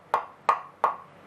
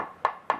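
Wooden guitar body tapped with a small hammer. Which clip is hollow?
The first.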